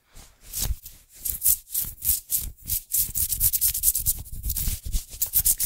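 The sleeve of a worn black cotton fleece sweatshirt with a white print is rubbed and brushed fast and hard with the palm and fingers of the other hand, close to the microphone. The result is a rapid series of swishing, hissy fabric strokes with soft low thumps, growing denser and louder toward the end.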